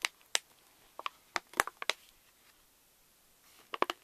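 A pink Reese's candy pouch made of plastic foil laminate is lifted while fingers crinkle and fold its top edge. About eleven sharp, bright crackles come out in quick clusters, each cut off almost instantly with no low-end body. A quiet pause falls in the middle before a final burst of crinkles near the end.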